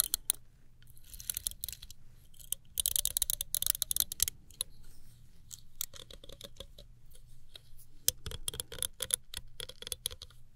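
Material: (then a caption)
Plastic. Long nails run and flick over the plastic bristles of a small chrome-finish plastic hairbrush, producing rapid, bright ticking clicks in dense bursts with brief pauses between them. A faint, steady low hum sits underneath throughout.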